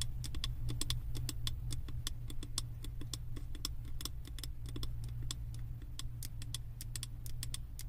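Long acrylic nails tap rapidly and irregularly on the side wall of a hand-held, wax-filled glass 3-wick candle jar with a label. The taps are short, bright clicks that die away quickly, heard over a steady low hum that fills the clip.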